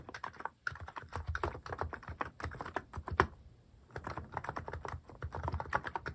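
Fingertips type rapidly on a cream plastic-case mechanical keyboard fitted with cat and paw-shaped plastic keycaps, pressing keys over and over. The result is a dense stream of short, dry clacks with a low, hollow body around 375 Hz and a bright tick on top. The typing pauses briefly near the start and again in the middle.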